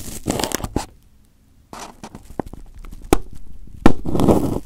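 Fingers pick, pinch and peel at crumpled aluminium foil wrapped over a microphone head, making close, low-heavy crinkling and tearing sounds. Bursts of rustling stop for a brief near-silent pause, then resume with scattered crackles and two sharp louder snaps before a final dense crinkle.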